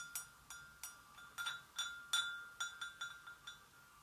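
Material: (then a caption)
Porcelain. Long acrylic nail tips tap the sides of an empty, medium-sized, hollow white porcelain gravy boat. About a dozen quick, irregular taps each give a bright ringing tone around 1.4 kHz with high overtones that fade within a fraction of a second.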